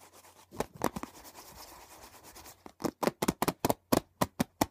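Fingertips and nails drum fast on the top and edge of a closed, hollow hard plastic CD box set case lying on a blanket. A few dull taps give way to a soft, steady scratching rub, then a quick run of sharp, separate clicky taps with no ring.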